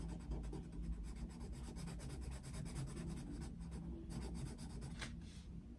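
A yellow wooden coloured pencil shades a picture of Mickey Mouse in an open paper colouring book on a desk with fast rubbing and scratching strokes. The strokes come as a quick run of soft, papery scratches over a steady low rumble, with a brighter rasp near the end.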